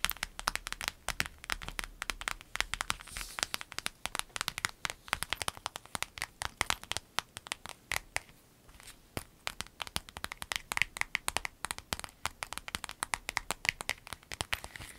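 A small, flat, empty clear vinyl zip pouch with yellow trim is tapped and scratched with long nails while lying on a dark surface, then squeezed in the hand. Dense, rapid, crisp clicks and crinkles fill the clip with bright, sharp transients and almost no low end, easing briefly around the eight-second mark before picking back up.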